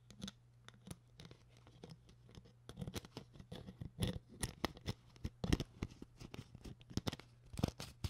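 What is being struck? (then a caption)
Empty thin plastic water bottle. Long nails scratch and tap along the ribbed body and neck of an empty, hollow, clear PET plastic water bottle with its label removed. The result is a rapid, irregular series of short, crisp clicks and scratchy crackles over a faint, steady low hum, each tap dying away almost instantly.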